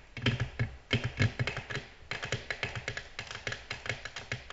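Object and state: Glass tabletop tapped with fingernails.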